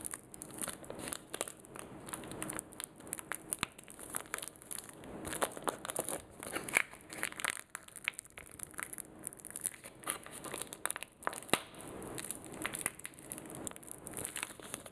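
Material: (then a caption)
Plastic. A small, sealed, puffy blue printed plastic sanitizing wipe sachet is squeezed and crumpled between fingertips and short nails. It gives a steady run of bright crinkles and crackles with short, sharp snaps, and almost no low end.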